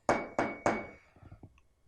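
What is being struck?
Glass object.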